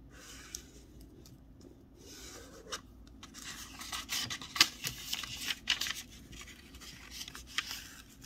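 Fingertips and a fingernail run along the fold lines of a thin sheet of snowflake wrapping paper with a kraft back, partly folded and lying flat, rubbing and creasing it. Soft, bright papery rustling and scratching rise and fall irregularly, with sharper crinkles and creases standing out around the middle of the clip.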